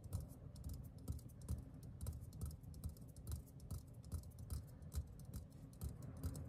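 A hollow green metal aerosol deodorant can, held in the hand, is tapped on its bottom and side with the fingertips. Quick, irregular taps land as soft, dull low thuds with faint bright ticks, each dying away almost at once. The overall level stays quiet.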